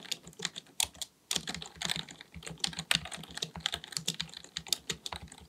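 Both hands type continuously with their fingertips on a black, full-size plastic keyboard, likely mechanical with a hollow body, resting on a desk. Rapid, bright, dry key taps with a soft low thump beneath them carry on steadily, with one brief pause near the one-second mark.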